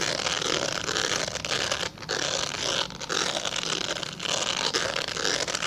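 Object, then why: Glycerin soap bar. A translucent solid glycerin soap bar, held in both hands, is scratched with fingernails. The result is a steady, bright, dry scratching with little low end, dipping briefly near 2, 3 and 4 seconds before resuming.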